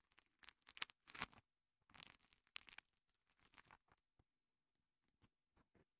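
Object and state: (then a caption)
Foam kitchen sponge rubbed and squeezed. A small two-layer kitchen sponge of soft, porous green foam on yellow foam, held in fingertips with long painted nails, is rubbed and squeezed against a microphone capsule. Quiet, bright, scratchy crinkling and rustling come in irregular bursts with short pauses, thinning out toward the end into a few sparse soft brushes.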